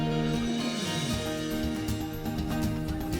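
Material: Nothing is struck.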